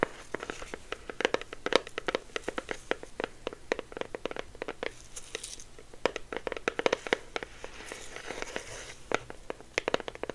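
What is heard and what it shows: A small, hollow, orange printed cardboard hand warmer box is held in both hands and tapped and scratched with the fingertips. It gives rapid, dry, hollow taps that stop almost instantly, mixed with crinkly scratching and brief brighter rasping stretches.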